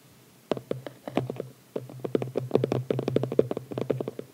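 Fingertips and short nails tap and scratch the lid of a small, closed red cardboard phone-case box with a white ribbon, lying on a towel. After a half-second of quiet comes a quick run of soft, dull taps with a brief pause in the middle. Each tap dies out almost at once.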